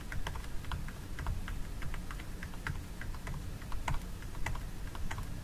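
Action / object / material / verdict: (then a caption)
tap / plastic jar lid with gel inside / plastic / none. Long nails tap and scratch the lid of a small clear plastic jar filled with orange fragrance gel, held in the hands. Rapid, crisp clicks with very short decay come in an irregular stream, sounding much like typing, over a steady low rumble.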